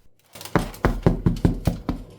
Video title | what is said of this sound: Einfachstes Dinkel-Brot der Welt 🍞💫 lecker selbst gemacht, Anfänger leicht! #201 | If it sounds hollow – like mine does – it is perfectly baked.